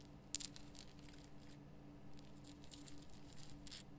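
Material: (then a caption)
Rock salt. Long painted nails scratch the rough surface of a large, solid, lit pink Himalayan rock-salt lamp. A sharp first scrape is followed by quiet, bright, dry scratching bursts. A faint low steady hum runs underneath throughout.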